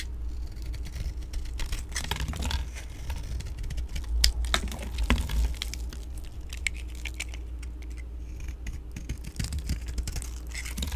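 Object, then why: Bar of soap carved with a metal blade. A solid pink oval dry soap bar, held in the hand, is scraped and carved with a metal blade tool, and flakes fall off. Quick, irregular dry scratching strokes with crisp, high, brief edges come in uneven bursts over a steady low hum.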